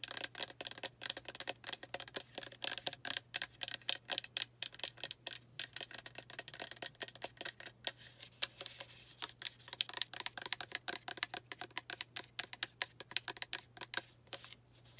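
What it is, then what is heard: Plastic spray bottle tapped and scratched with nails. Long acrylic nails tap and scratch the front label area of a pink plastic rosewater spray bottle filled with liquid. The result is a rapid, dense stream of sharp, bright clicks and scrapes that die away almost instantly, over a faint, steady low hum.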